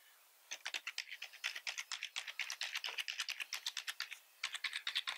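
Both hands type with their fingertips on a full-size black plastic membrane keyboard with red accent keys, producing a fast, steady run of about 38 short, bright clicky taps with almost no low end. The typing pauses briefly just after four seconds, then resumes in another quick burst.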